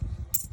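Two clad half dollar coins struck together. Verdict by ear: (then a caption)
Dull. Two clad (non-silver) half dollar coins are struck together once, giving a single short, dull click with a faint high ring that fades almost at once over a low background rumble. The dull sound marks them as clad rather than silver, which would give a louder ping.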